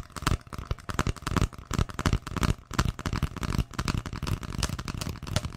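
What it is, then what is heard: Empty hollow cardboard tube. An empty, hollow brown cardboard tube is held upright near the microphone and tapped and scratched with long fingernails. It makes a rapid, irregular run of short, dry, low hollow thuds mixed with bright scratchy rasps. Each tap dies away almost instantly.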